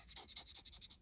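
A polymer folding knife handle on a Hogue Deka knife is tapped and scratched, giving a quick series of bright, high, dry scratchy rasps with almost no low end and very little ring. The polymer handle sounds hollow and feels cheap and light.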